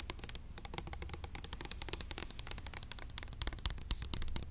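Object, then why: Small plastic bottle of liquid. A small clear orange plastic bottle of hair oil, hollow and filled with liquid, is held in the hand and tapped fast with long acrylic nails. The result is a rapid, uneven stream of dry, bright clicks that die away instantly, over a steady low hum.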